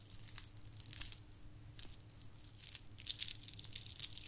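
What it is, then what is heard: Plastic bead garland rattled. A long strand of small, shiny gold plastic beads from a Christmas garland is held in both hands with long nails and shaken and rattled. The beads click and clatter against each other in quick, dense bursts of bright, crisp rattling. The clicking grows louder and sharper toward the end over a faint low hum.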